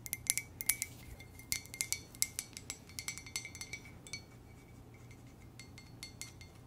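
Long nails gently tap a hollow white ceramic coffee mug printed with lips and the word "muah!" in an irregular run of light clicks. Each bright, glassy tap carries a short ringing tone near 2.3 kHz that dies away almost at once. The taps come thick and fast for about four seconds, then thin out into softer, scattered ones over a low background hum.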